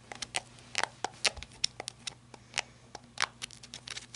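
Long red-painted nails scratch and tap the end cap at the tail of a small, hollow-bodied, handheld black flashlight with a ribbed, rubber-like grip. The result is a quiet, irregular run of sharp, dry clicks and crinkly scratches that stop instantly with no ring. The sound is mostly bright and high, with almost no low end.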